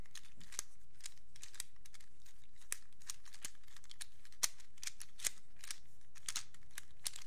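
A black plastic infinity cube is held in both hands while its blocks are flipped and snapped together with the fingertips. Quiet, irregular bright clicks and soft snaps repeat over a faint low rumble, with a few sharper clacks standing out.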